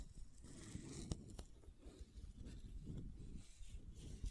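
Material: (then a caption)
Plastic. Long nails scratch across the white plastic screw cap of a supplement bottle and tap it a few times. Soft, continuous scraping and rustling is broken by a few sharp, short clicks. The sound is quiet and dull, with most of its energy in the low end.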